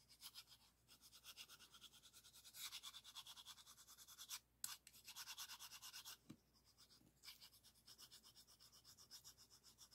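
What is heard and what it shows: A small, solid, orange-painted wooden arc piece from a rainbow stacking puzzle is held in both hands and scratched and rubbed with fingertips and nails, touching an adjacent green piece. The result is a quiet, bright, rhythmic scratching with many quick strokes, mostly high in pitch with little low end. There are brief pauses and a couple of sharper taps.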